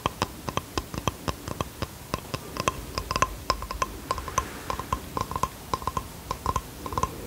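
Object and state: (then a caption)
Bamboo box tapped with fingertips. Fingertips tap a small flat bamboo wooden box held in both hands, giving a long run of quick, dry wooden clicks with a steady pitch near 1 kHz. The taps come in irregular bursts, each dying away almost instantly over a faint background hiss.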